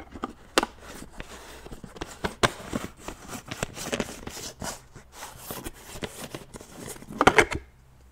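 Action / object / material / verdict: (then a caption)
scrape / plastic supplement tub with screw lid / plastic / none. Fingers with nails grip and twist the screw lid of a large white plastic supplement tub, making a dry rubbing, rasping sound. Short scratchy clicks and scrapes come in quick, uneven bursts, with a louder cluster of rasps near the end before it falls quiet.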